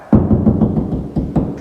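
Six dull, low knocks as a drywall wall is tapped near an outlet to find the wooden stud behind it. Each tap is a short, solid thud with little ring, and the solid sound shows a stud is right there.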